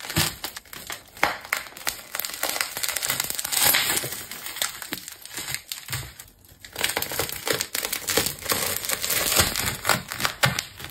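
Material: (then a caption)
Plastic tape. A green and rainbow layered plastic tape ball is cut deeper with a craft knife and pulled open by hand. Dense, bright crinkling and tearing crackles run throughout, with a brief quieter pause around the middle before the rustling picks up again.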